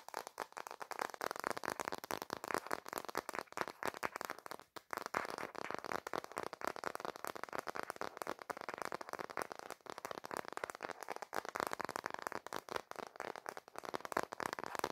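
Fingertips and nails rapidly tap and scratch the back of a smartphone in a black plastic case, held landscape in both hands. A dense, continuous stream of dry clicks and scratchy rasps sits mostly in the midrange around 1 kHz, with almost no low end. Each tap dies out almost instantly.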